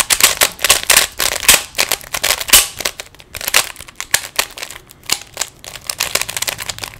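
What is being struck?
Plastic 3x3 puzzle cube.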